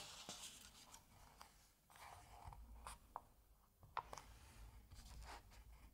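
Fingers turn the paper pages of an open Asterix comic album and rub across the page surface. Soft, dry rustling and scraping swish along, broken by a few sharp, crisp paper snaps against a quiet low rumble.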